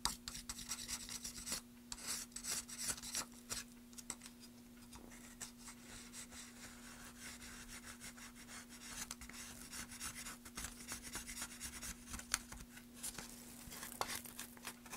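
A small blade scrapes across the end grain of an upright solid wooden plank in quick, rasp-like strokes. The result is a dry, bright scratching texture over a steady low hum.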